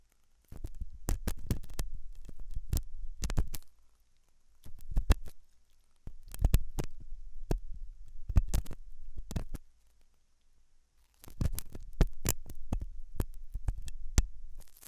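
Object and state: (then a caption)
Silicone dummy ear scraped with a metal pick. A thin hooked metal dental tool scratches inside the ear canal of a white silicone dummy ear on a binaural microphone. The ear is soft and solid-looking. The sound is close, deep, muffled scraping and thumping, in bursts with short pauses between them, and it is almost entirely low rumble with sharp clicky transients.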